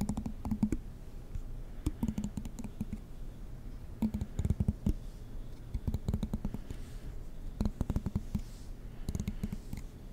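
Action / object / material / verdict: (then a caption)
flick / plastic comb / plastic / none. A fingernail strums the teeth of a black plastic comb in front of the mic. Short bursts of quick, dry clicks come in rapid runs with brief pauses between them, each click dying away almost at once. The sound is low and thumpy, centered around 210 Hz, with little bright content.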